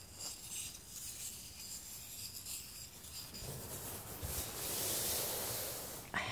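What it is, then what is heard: Wooden tealight tray. A small solid wooden tray holding three heart-decorated tealights is rubbed and stroked with fingertips and palms while held, giving a soft, bright, papery rubbing hiss that grows fuller and smoother partway through. It ends with a brief knock as the tray is set on the table.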